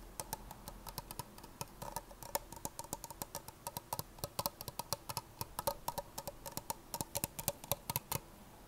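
Long painted nails tap and scratch the sides and base of an empty, hollow, medium-size red plastic party cup held upside down. Dozens of quick, irregular, dry clicks ring out with a bright, hollow tick around 570 Hz and a faint scratchy hiss between them. Each tap dies away almost instantly.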